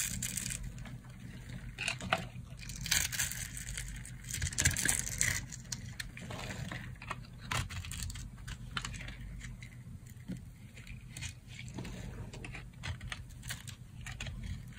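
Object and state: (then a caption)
Dry soap bar, dry. A solid rectangular bar of dry yellow soap is held in the hand and carved with a metal knife blade. Dense, crunchy slicing and scraping crackles run throughout over a steady low hum. Flakes pile up below.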